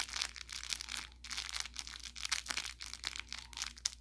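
Fingertips pinch and scratch at the seam of an orange velour plush carrot cat toy with crinkle filling. A rapid series of bright, dry crinkling and crackling bursts follows, over a faint, steady low hum.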